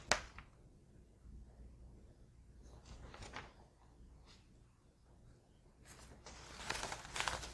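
A large, thin, flat newsprint newspaper spread on a table is handled, smoothed and turned page by page with fingertips and long painted nails. A sharp, bright paper snap opens the clip, followed by quiet, airy rustles and brief crisp swishes. It builds into louder, bright crinkling as a page is turned near the end.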